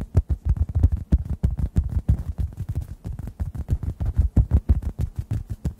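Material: Foam.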